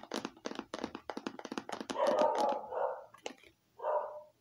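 Long painted nails tap a small, hollow red hard-plastic eyeglasses case with a faux-leather stitched look, held close. A quick, uneven run of light, hollow clicks gives way to longer, smoother scratching swells with a tonal hum around 600 Hz. One more sharp tap and a final swell follow.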